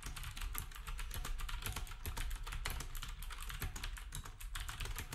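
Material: Plastic.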